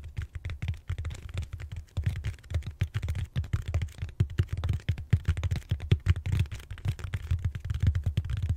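Fingertips and short nails tap and scratch the textured surface of a large, solid purple foam back roller held horizontally. The result is a rapid, uneven stream of short, dull, low thuds with almost no ring, broken by brief soft scratching in between.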